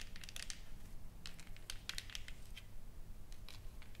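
Long nails tap and scratch across a solid, flat wooden plaque with engraved text and painted flowers. Quiet, short, dry clicks and bright scratchy crackles come in an uneven rhythm over a faint low hum.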